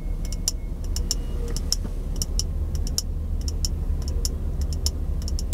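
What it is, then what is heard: Empty glass jar. Fingertips and nails tap on a small, empty, hollow clear glass jar held in both hands close up. The result is a string of quick, bright glassy ticks with very short ring, over a steady low rumble.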